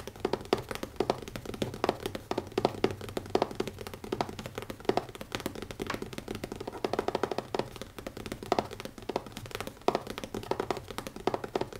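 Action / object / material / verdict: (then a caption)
tap / leather notebook cover / leather / none. Fingertips tap quickly on the cover of a new leather notebook. Dense, rapid, dull taps with very short ring form a steady stream of soft knocks, with no talking.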